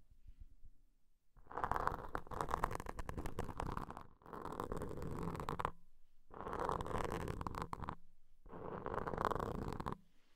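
The tip of a wooden toothpick, held between the fingertips, scrapes over soft, porous black foam microphone covers, moving from both covers to just one. Four dense bursts of muffled, crackling scratching are heard, with a hollow, rumbling low end and a mid-range core separated by short near-silent gaps.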